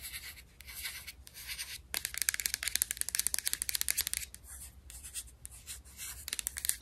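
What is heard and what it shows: Long nails scratch and tap on the paper label of a white plastic supplement bottle with a purple screw cap and capsules inside. Bright, dry scratching swells in bursts, broken by runs of quick, sharp clicks that stop dead with no ring, over a faint low hum.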